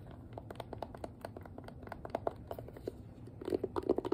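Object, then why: Plastic hairbrush. Long nails tap and scratch the hollow shell of a hand-sized pink plastic detangling hairbrush. About twenty quick, dry, hollow clicks sit over a soft scratchy rustle, with no ring after each tap. The taps grow louder and denser toward the end.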